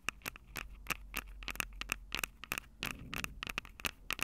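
Long acrylic nails tap and scratch the mic capsules of a Tascam DR-05 handheld recorder with a plastic body and metal mic grilles. About twenty sharp, bright clicks with a dry ticking tone near 2.6 kHz stop almost instantly, separated by faint scratchy scraping over a low steady hum.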